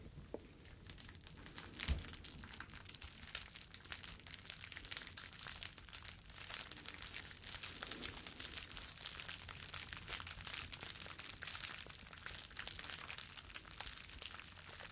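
A thin, flexible sheet of clear plastic bubble wrap with hollow air bubbles, held in both hands in front of the face, is crumpled and rubbed together with the fingers. It makes a steady, bright crinkling and crackling that runs the whole clip, with one louder snap near the two-second mark.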